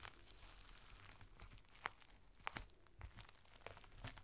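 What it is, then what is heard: Crinkled plastic rain cover. A thin strip of clear plastic from a rain cover, folded into a small packet, is pressed and crinkled by fingertips. The result is quiet, irregular crackling and rustling with a few sharper, brighter snaps standing out, each dying away almost instantly.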